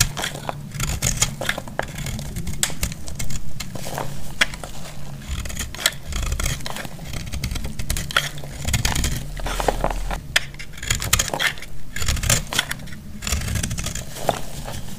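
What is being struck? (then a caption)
Bar of soap shaved with a blade. A metal utility blade shaves a solid pale yellow bar of dry soap held in the palm, cutting it into crumbly strands. Rapid, dry scraping and crackling cuts repeat throughout, with bright crisp edges over a steady low rumble.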